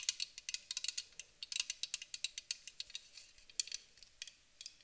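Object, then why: Aluminium aerosol can tapped with fingernails. Long acrylic nails tap and scratch along the body of a medium-size white Avène thermal water spray can, a hollow, pressurized aluminium aerosol can. About 26 quick, quiet, bright clicks come in an uneven run, each dying almost at once with a faint metallic tick and almost no low end.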